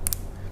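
A long bean (yardlong bean) pod is snapped in half by hand, giving a short, crisp, bright snap over a steady low background hum. The pod breaks easily yet snaps audibly, which shows it is firm, hard and dense, since a pod that is not firm makes no sound when snapped this way.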